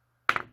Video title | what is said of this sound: 알카라인 건전지(일회용 건전지) 1초안에 새것과 헌것 구분하는 방법 | 진동이 있어요. 요것도 1.5V 이하.